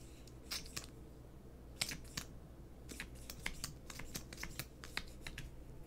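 A small, hollow gold and blue metallic plastic lipstick tube is held in both hands and tapped and scratched with fingernails while the cap is handled. Quick, sharp, bright clicks and scratchy ticks come in irregular bursts and die away almost instantly. A quiet, steady low hum runs underneath.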